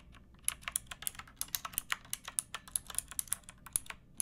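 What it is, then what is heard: Plastic mechanical keyboard being typed on. Fingertips with long painted nails type on a pink backlit plastic mechanical keyboard with round typewriter-style keycaps and a hollow case. About 25 quick, bright, clacky keystrokes land at an uneven pace, each dying out almost instantly with little low-end weight.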